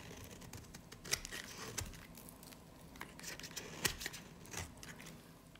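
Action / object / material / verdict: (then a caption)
scrape / soap bar shaved with a knife blade / soap / none. A solid, dry, varnished light green soap bar is held in the hand and shaved with a snap-off knife blade. The sound is quiet, bright, crisp scraping and crackling, with a few sharper, louder cracks standing out among the steady shaving.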